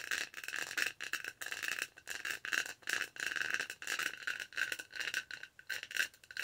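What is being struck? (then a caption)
Textured plastic tumbler lid. Long nails scratch and tap the bumpy surface of a detached, textured purple plastic tumbler lid held in both hands close to the mic. Quick bursts of dry, crackly scratching and rattling come in uneven bunches with brief gaps between them. The sound is bright and thin, centered in the upper mids with no low end.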